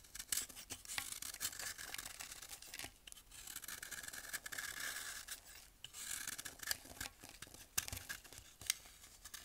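A small metal blade shaves the face of a palm-sized solid block of compacted baking soda held over a glass bowl of baking soda powder, and powder falls off. The sound is dry, bright, rasping scraping in repeated strokes, with sharp crisp clicks and crumbly crackles and very little low end.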